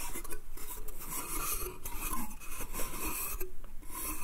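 Fingernails scratch and rub along the slats and edges of a small, hollow, empty, light pine slatted bath crate held in the hand. The result is a steady, dry rasping with bright, airy scraping texture and soft bursts as the nails catch on the wood.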